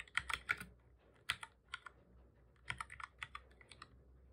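Fingertips of both hands type on the keys of a black, full-size plastic computer keyboard. Quick bright clicks come in short bursts separated by pauses, each key press dying away almost at once over a faint low hum.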